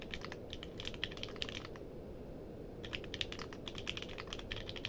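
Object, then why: Mechanical keyboard with plastic keycaps. Fingertips type on a compact mechanical keyboard with a purple case and plastic keycaps, producing rapid, bright, short clicks over a steady low background hiss. The typing runs in a quick burst, pauses for about a second, then resumes at a similar pace until the end.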